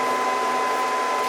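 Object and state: Nothing is struck.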